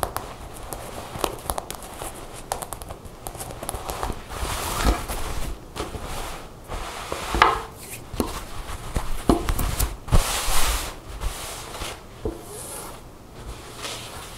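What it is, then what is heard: Woven fabric vest tapped and scratched. Long blue nails tap and scratch the surface of a black buttoned woven fabric vest lying on a table. The fast, dry taps are short with little ring, mixed with brighter scratchy rustling bursts over a low, muffled thud.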